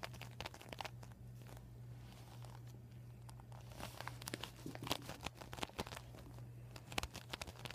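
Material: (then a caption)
Vinyl. Fingertips rub and nails scratch across a flat, empty, deflated PVC vinyl beach ball with a white panel bearing marker writing, then fingers pinch and crinkle the vinyl. Soft, dry scratching gives way to louder, sharp, bright crinkles and crackles over a steady low hum.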